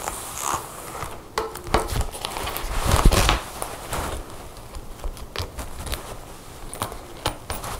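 Long painted nails and fingertips work the long brass zipper on a black faux leather jacket lying flat on a table, then rub and scratch across the leather surface. The sound is dry, crackly clicking from the zipper teeth and sharp nail taps, mixed with soft rustling scrapes over the leather. Irregular clicks and scratches come in quick bursts, with the loudest scraping around the middle.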